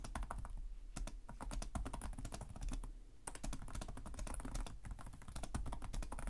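Both hands type rapidly with their fingertips on the plastic chiclet keys of a black laptop with a hollow chassis. The result is a steady stream of short, dry clicking taps with a hollow, low thump under each press and bright tick edges. Each tap dies away almost at once.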